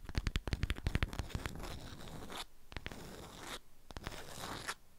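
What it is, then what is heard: Beeswax-coated fabric wrap, scratched. Long acrylic nails tap and scratch a hand-held flat rectangular item wrapped in a strawberry-print beeswax-coated fabric cloth. A quick run of sharp, dull-bodied taps with a low thump gives way to longer crackly scraping strokes across the waxed surface, with a brief pause in between.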